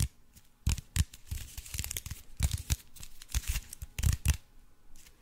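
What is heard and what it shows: Fingernails scratch and tap the crinkled surface of an aluminium foil-wrapped block held in front of the face. The result is a run of dry, crackling crinkles and sharp taps with bright, papery hiss and low thuds, separated by quieter rustling. Each burst stops almost immediately.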